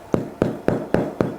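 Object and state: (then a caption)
Well-baked bread loaf, hollow. A freshly baked country loaf (pain de campagne) is turned over and patted on its bottom five times. Each pat gives a short, hollow, low thump, which shows the loaf is well baked.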